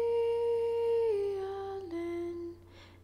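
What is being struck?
Nothing is struck.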